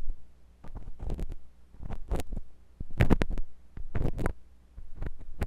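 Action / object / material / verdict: scrape / silicone ear of a binaural microphone scraped with a metal tool / silicone / none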